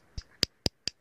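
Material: Quartz.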